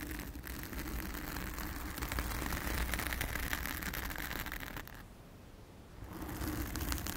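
Long acrylic nails on both hands scratch and rub a soft, porous round blue foam windscreen over a microphone. The result is a dense, continuous crackly rustling over a heavy low rumble. It eases into a quieter, duller stretch near the end before the bright scratching returns.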